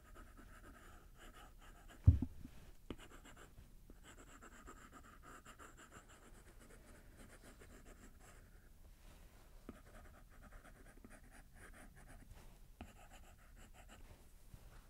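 A plastic stylus tip, held in the fingers, is drawn across the glass touchscreen of a large iPad tablet in short sketching strokes. Quiet, soft scratchy rubbing and tapping continue throughout, with one louder low thump near the start.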